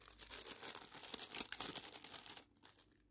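Fingers with long pink nails crinkle and scrunch a small, thin clear plastic packet holding a feather. The result is a quick run of bright, dry crackling with almost no low end, which fades to faint rustles near the end.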